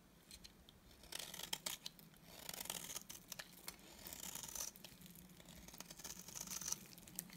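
A utility knife blade cuts and scrapes strips off the surface of a solid, dry cream soap bar held in the hand. It makes quiet, bright, crisp scraping and crackling strokes that come in several longer bursts, with short gaps of softer rasping between them.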